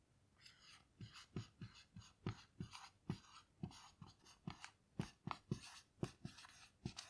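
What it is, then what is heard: Small melamine whiteboard. A black dry-erase marker writes on a small melamine lap whiteboard with a grid surface lying flat, making gliding, scratching strokes. It comes as a quick, uneven run of short, soft taps with a low thud, each with a brief bright scratchy hiss that fades almost at once.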